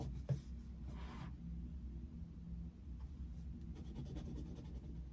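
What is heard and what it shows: The tip of a yellow wooden coloured pencil scratches across the thin paper page of an open colouring book lying flat on a desk in steady colouring strokes. The result is a quiet, soft, continuous scratching with a low rumble underneath, a brief louder tick near the start, and brighter, rougher bursts of scratch partway through and toward the end.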